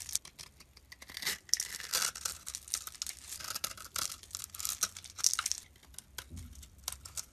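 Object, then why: Bar of laundry soap. A utility knife blade scrapes fine, crumbly shavings off a solid rectangular bar of brown laundry soap held in the hand. The result is a series of dry, bright scratching and crackling strokes, almost entirely high-pitched with very little low end, each one short and quick to fade.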